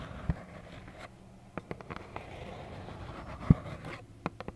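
Long acrylic nails scratch and tap a small, hollow, plaid cardboard tissue box. A soft, low scratching runs throughout, broken by ten short, dry taps with quick, bright clicks that fade almost at once.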